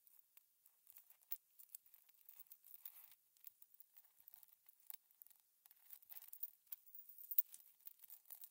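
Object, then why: Small metal cover-button backs pushed with a pin. A metal pin sorts and pushes a cluster of small hollow silver metal cover-button backs around on a blue cutting mat. The result is a dense, quiet run of tiny bright metallic clinks and scrapes with no low end. Each tick dies away almost instantly.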